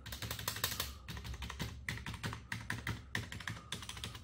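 A gloved fingertip taps individual keys across an Ant Esports MK1400 Pro backlit gaming keyboard, a full-size black and white plastic membrane keyboard on a wooden desk, including the spacebar and number keys. A quick run of short, soft keystrokes is heard, each with a low thud under a brighter plastic clack that dies away fast.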